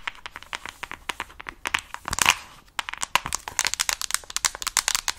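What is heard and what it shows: Long nails tap and scratch the back of a mint plastic case on a Nintendo Switch Lite held close to the mic. Quick, dry, bright plastic clicks run through the clip, broken by a louder scratching burst just after two seconds and a brief pause.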